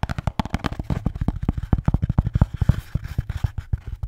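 A red Bintang beer can holder is tapped and scratched in a rapid, uneven series of short, dull, low thumps. Each hit dies away almost at once, with faint scratchy texture between the taps.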